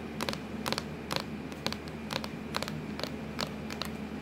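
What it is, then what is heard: Plastic laptop lid tapped with nails. Long acrylic nails tap and scratch on a hollow, black textured plastic laptop lid. Quiet, bright clicky taps, some doubled, come about twice a second in an uneven rhythm. Each tap dies away almost at once over a steady low hum.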